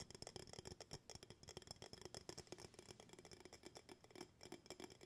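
Fingertips tap the bamboo lid and glass walls of an empty glass jar held up in the air. The result is a quick, steady run of soft, dry taps with a slight ringing tone around 375 Hz and bright clicky edges. Each tap dies away almost at once.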